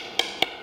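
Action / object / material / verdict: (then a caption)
tap / aircraft composite panel / composite / well bonded. Two quick coin taps on a well-bonded aircraft composite panel each give a clear, bright tick with almost no ring and energy concentrated in the upper frequencies. The clear tone indicates good bonding at this spot.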